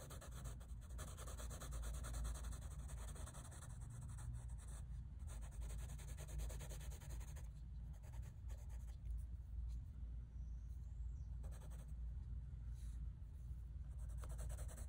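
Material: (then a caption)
Paper. A light-blue wooden colored pencil, held in the hand, shades rapidly across a large, flat, solid sheet of drawing paper in a sketchbook. Dense back-and-forth rubbing strokes make a steady, continuous scratching on the paper surface, with a soft, low-heavy tone and faint brighter hiss.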